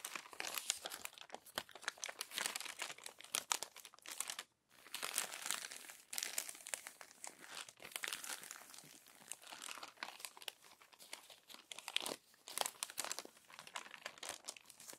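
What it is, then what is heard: Glossy paper magazine pages. Long nails turn and smooth the crumpled, crinkled pages of an open glossy paper magazine. Dense, bright crinkling and crackling runs almost continuously with no low end, broken by a brief silent gap near the middle and a few softer dips.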